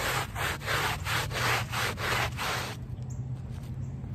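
A handheld plastic bristle brush scrubs the back side of a small wet, soapy woven rug lying on pavement, using long strokes. Each stroke makes a broad, rasping swish, repeating at a steady brushing rhythm. The scrubbing stops near the end, leaving only a low steady hum.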